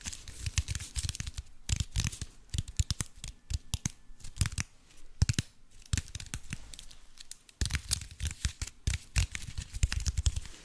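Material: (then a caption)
Aluminium foil. Fingernails scratch and crinkle the aluminium foil covering a cube-shaped block, producing a dense run of sharp, crackling crinkles and tearing-like rasps. The bursts are bright, with low thumps underneath, and pause briefly before picking up again.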